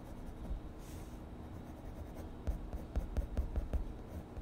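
An orange colored pencil is rubbed firmly across a page of a spiral-bound paper sketchbook lying flat, shading a mushroom drawing. A quiet, low scratchy rubbing runs throughout, then turns into a series of quick, sharper strokes in the second half.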